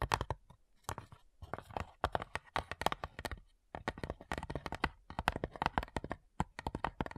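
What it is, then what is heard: Wooden cigar box. Long nails tap across the lid of a flat, hollow cigar box made of light wood. The result is a fast, irregular run of crisp, dry clicks with a hollow, woody tone around 820 Hz. Each tap dies away almost instantly, and there are brief pauses between bursts.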